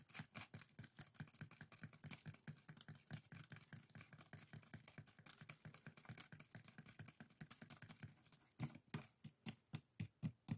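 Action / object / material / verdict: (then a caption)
scrape / woven split-bamboo strainer / bamboo / none. Fingertips and nails scratch and tap the weave of a small, hollow, empty pair of woven split-bamboo bokjori strainers resting on a table. A rapid, dry stream of crisp, bright clicks and rustling scrapes runs steadily, then gives way near the end to slower, louder, separate taps on the hollow bamboo.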